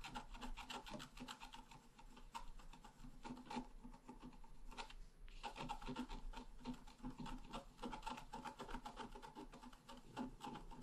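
A wooden stylus scratches flower and grass lines into the right side of a flat, black-coated scratch paper card. Quick, uneven, raspy scratching strokes continue throughout, with a brief pause around five seconds before the strokes resume.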